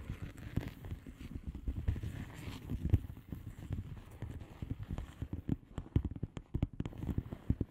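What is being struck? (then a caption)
Plastic bubble wrap mailer. Long manicured nails of both hands tap and scratch a flat blue plastic bubble wrap mailer envelope with air-filled bubbles. The result is a quiet, steady stream of quick, dull, low taps mixed with soft scratchy crackles, each one stopping almost at once.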